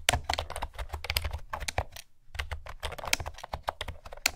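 Fingertips and nails type on a blue plastic keyboard with round keycaps, producing a quick run of bright, clicky key taps with a low thump under each press. The tapping pauses briefly near the middle, then resumes at the same steady pace.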